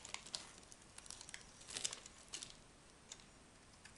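A solid orange-and-white striped dry soap bar, held in the hand, is scraped and cut with a small metal knife as shavings pile up below. Quiet, bright, crisp crackles and scratchy ticks come in an irregular series, with a denser burst near the middle, and almost no low end.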